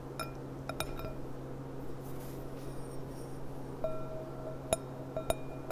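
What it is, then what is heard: Glass goblet tapped with fingernails. Long nails tap the thin bowl of a clear, empty gold-rimmed glass goblet lying on its side. The taps are sharp, bright clinks with a short ring near 650 Hz, scattered irregularly over a steady low hum.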